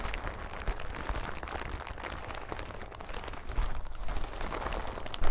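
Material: Plastic.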